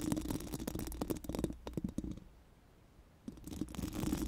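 Four pink silicone brush wands are rubbed and scratched against a round, hollow metal mesh microphone grille, producing dense, muffled scratching with quick tapping bursts and a low, thumpy body. The rubbing fades to near silence for about a second in the middle, then resumes just as busily.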